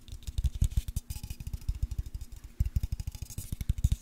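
A white cylindrical Dove aluminium deodorant aerosol can, pressurised with contents, is tapped with fingertips and nails and shaken. About 33 quick, dull, low thuds come in a steady run, with faint bright clicks and a short pause near the middle. Each tap dies almost at once.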